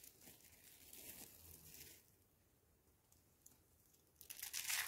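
Small, thin, hollow rolled curls of dried pink, white and green bar soap are crushed, crumbled and rubbed between bare fingertips over a pile of soap crumbs on a white wooden board. The result is a bright, dry crackling and crinkling with a tearing, crunchy texture that is steady for the first two seconds, drops to a faint rustle, then swells into a louder, brighter burst of crunching at the end.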